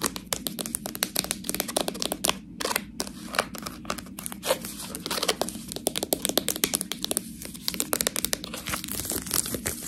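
A full, clear plastic package of fresh tortellini is held in both hands and scratched and squeezed with long nails. Rapid, dense crinkling and scratching clicks with bright, hissy edges sit over a soft low rustle, each crackle stopping almost instantly.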